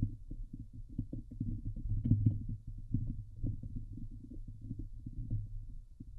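Long nails on both hands scratch fast across the hollow steel wire-mesh dome grille of a Blue Yeti microphone. The result is a dense, continuous stream of rapid, low, thumping scrapes with a steady low hum underneath, and almost nothing in the high range.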